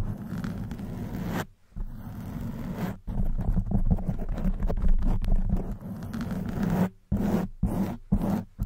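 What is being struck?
Foam microphone windscreen.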